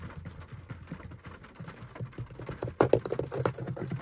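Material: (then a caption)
Plastic. Fingertips and nails quickly tap and scratch on a beige, fabric-covered hollow plastic car sun visor with its vanity mirror cover closed. The result is a run of soft, muffled, hollow knocks with faint scratching. The taps grow louder and sharper toward the end.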